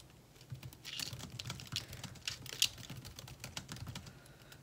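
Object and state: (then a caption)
Laptop keyboard with plastic keys. Two hands type with their fingertips on a laptop keyboard with plastic keys, making steady, rapid key taps. The clicks are short and bright, with a quiet low hum underneath.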